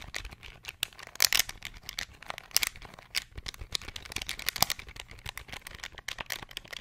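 Rapid fingertip presses tap the plastic keys of a small, hollow beige plastic pocket calculator held close to the microphone. The result is a fast, uneven stream of dry, bright clicks and light rattles with almost no low end. Each click stops instantly with no ring, and a few sharper presses stand out above the rest.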